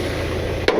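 A single sharp strike on a rusted steel part, sounding solid at this spot, during a heavy recovery under a 36,000 lb pull. The short knock rings briefly over a steady low background rumble, unlike the hollow sound higher up on the part.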